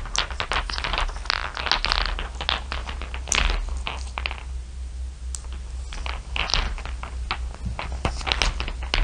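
Fingertips and long nails rake, scratch and tap across a heap of small solid glass marbles, clear blue and dark shiny, resting on dark fabric. Dense bright clicks and clinking rattles come in quick bursts over a steady low hum, easing to softer scratching in the middle before the tapping picks up again.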